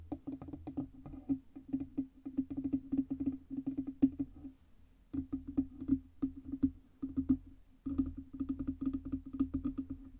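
Long red nails tap rapidly on the lower body and stand area of a black Blue Yeti USB microphone, which has a hollow metal body and stand. Quick, dry clicks ride on a resonant hollow tone around 270 Hz and die away almost instantly. The tapping runs in dense bursts, with brief pauses near 4.5 and 7.7 seconds.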